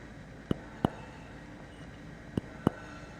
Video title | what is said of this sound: A couple of vintage 1980s-1990's Philips Square Bulbs (Soft White and Yellow Bug Light). | very nice vintage spring-loaded old-time filament sound effect